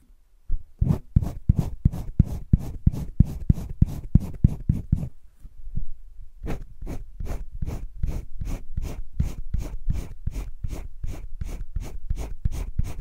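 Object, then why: Wooden colored pencil on thick sketchbook paper. A green wooden colored pencil is scratched and rubbed in circular shading over a thick drawing-paper page of a spiral sketchbook. It makes a steady run of quick, dry scratching strokes, about three per second, each with a soft low thump and a brief bright rasp. The strokes pause briefly around the midpoint, then resume at the same pace.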